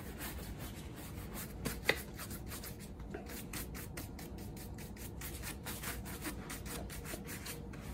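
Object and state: Leather boot being brushed.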